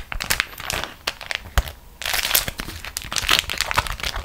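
Fingertips and long nails squeeze a beeswax-coated cotton food wrap into a crumpled ball on top of another wrap of the same material. Dense, bright crinkling and crackling crushes come in quick overlapping bursts. The sound eases briefly before a fuller, louder stretch of crunching.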